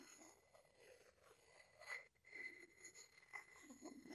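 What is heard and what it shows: A wooden pestle is rubbed against the outside of a hollow wooden mortar. The result is a soft, bright, rasping scrape with a faint tonal squeak near 2 kHz, swelling and easing in uneven strokes with a brief pause near the middle.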